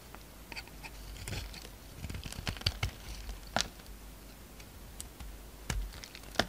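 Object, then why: Bar of soap. A utility knife scrapes and shaves flakes off a solid purple-pink bar of soap held in the hand. Quiet, dry scraping runs underneath a series of short, crisp cuts and clicks, with a few sharper, brighter snaps near the middle and end.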